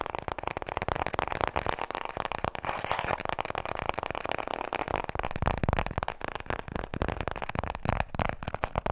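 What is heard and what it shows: Long nails tap fast on a small, full roll of white toilet paper held in both hands. The result is a dense stream of soft, dry, papery clicks with a muffled low thump and almost no ring.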